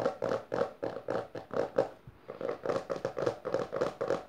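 Long dark-painted nails and fingertips of both hands tap and scratch fast across the front cover of a closed, solid hardcover book with a maroon textured cover, lying on purple fabric. A quick, uneven run of dry, hollow taps with a mid-pitched knock is mixed with short scratchy rasps, with a brief lull midway before the rapid tapping resumes.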